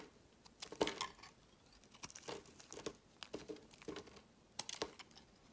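A metal knife blade scrapes shavings off the edge of a solid, cream-colored, palm-sized bar of soap with embossed lettering held in the hand. The result is quiet, dry, crinkly scraping strokes in irregular clusters separated by brief pauses, with bright, crisp edges and almost no low end.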